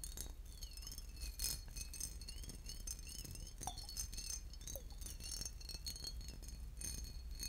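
A boot-shaped glass bottle with liquid inside is tapped and scratched, giving a steady run of light, glassy clinks and scratchy ticks over a low background hum. The clinks ring bright and high and fade quickly, with faint wavering tones underneath.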